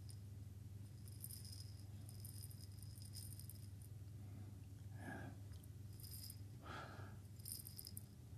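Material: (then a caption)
Glass. A small lidded glass jar, partly filled with coffee beans, is held in both hands near the ear and shaken and turned so the beans rattle inside. Quiet, bright clattering comes in bursts over a steady low hum, and two softer, fuller swishes of rolling beans sound partway through.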